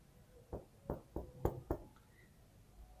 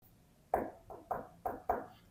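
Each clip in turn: First: solid wall plaster. Second: hollow plaster beside a wall crack.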